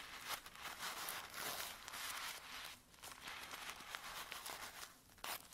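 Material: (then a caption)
Paper. Fingertips press, rub and scratch folded filter-paper camomile tea sachets filled with dry tea, held flat on a table. The result is a quiet, continuous stream of soft crinkling and scratchy rustling, bright and papery, with almost no low end and a few sharper crinkle bursts.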